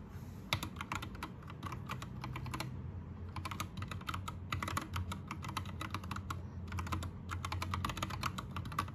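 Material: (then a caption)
Plastic. Fingertips type in bursts on an Anne Pro 2 60% mechanical keyboard with plastic keycaps, backlit green and then rainbow. Rapid, bright plastic clicks come in runs with short pauses near 3 and 6.5 seconds, over a steady low hum.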